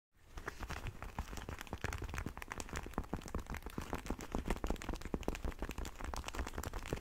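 Fingertips and nails rub and scratch a single black and red leather motorcycle glove with hard knuckle armour, held hollow and empty in both hands. A dense, continuous run of soft crinkling, scraping and small ticking scratches plays over a low, muffled rumble, with quick dry taps that die away at once.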